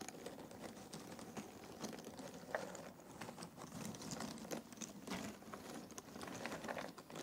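Fingertips pick at and stir a pile of loose, thin cardboard jigsaw puzzle pieces in a box. The result is a quiet, continuous patter of soft, dry clicks and rustles. The taps die away almost instantly, with occasional brighter ticks above a mid-range shuffle.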